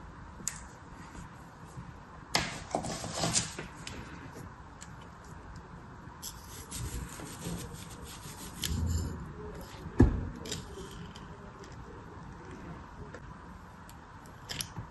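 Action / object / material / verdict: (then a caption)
scrape / kinetic sand in a small plastic mold / kinetic sand / none. A metal craft knife scrapes and cuts across beige kinetic sand packed into a small round blue plastic mold held in the fingers. Soft, gritty rubbing and crumbling sounds come through, with a low, muffled texture and brief bursts of bright, sandy hiss. A few sharper scrapes stand out, the strongest a short tick near the middle of the clip.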